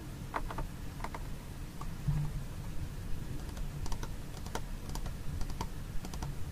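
Fingernails tap and scratch the side wall of a small, hollow white plastic food container held on its side with its lid on. Quick, light, bright clicks come in irregular bursts over a steady low rumble, each tap dying away almost at once.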